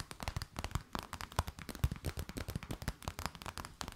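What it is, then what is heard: Clear plastic bag. An empty transparent plastic bag is crinkled and tapped with long nails, making a rapid, steady run of short, dry taps and crackles. Each tap has a soft, low thump beneath a bright crinkly edge and dies away almost at once. The whole clip stays fairly quiet.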